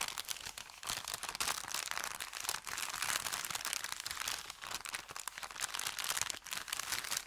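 An empty, thin brown kraft paper bakery bag with red print is squeezed, folded and crinkled with fingers and thumbs. A continuous, dense crackle of bright, dry crinkles with almost no low end runs throughout, swelling and easing as the paper is worked.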